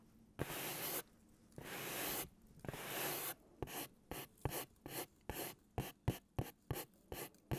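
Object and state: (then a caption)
Cardboard pizza box scratched. Fingernails scratch and rub the printed surface of a large white cardboard pizza box held diagonally. Three long, raspy strokes with a bright hiss come first, then twelve short, quick scratches that sound like writing on the cardboard.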